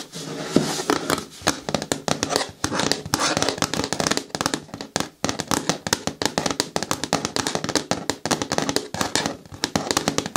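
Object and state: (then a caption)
Hard plastic bin tapped with nails. Long nails tap rapidly on the front of a large, hollow, green hard plastic bin with a lid. The result is a dense stream of sharp, clicky taps with a short, hollow plastic resonance around 277 Hz.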